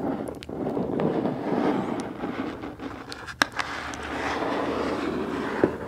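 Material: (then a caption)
Cardboard. Long black nails scratch and tap the printed side of a medium, hollow black Boxycharm cardboard box held upright. A steady, papery midrange scraping is broken by a few sharp, bright taps with almost no ring.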